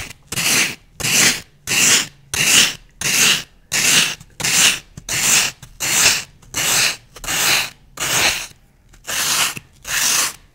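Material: Floral foam.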